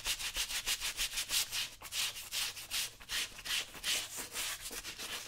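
A brown leather work boot covered in soapy lather, worn on a foot and steadied by one hand, is scrubbed with a small wooden-handled bristle brush in quick repeated rubbing strokes. The bright, hissy scratching rises and falls with each stroke at a rapid, somewhat uneven pace, with almost no low end.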